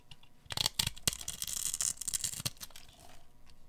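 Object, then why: Soap bar scraped with a metal blade. A pink solid bar of dry soap, held in the hands, is scraped by a metal blade across its scored surface, breaking it into cubes. Quick, bright, crisp scraping and crumbling bursts come in close succession, with sharp cracks around the middle. The sound then thins into softer scratching as the cubes fall away.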